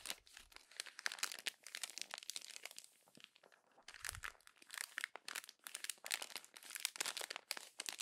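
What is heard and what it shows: Hands with long orange nails grab a page of an open glossy paper magazine lying flat and crumple it. Dense, bright crinkling and crackling comes in quick bursts, with a brief soft low thump around the midpoint as the paper is handled.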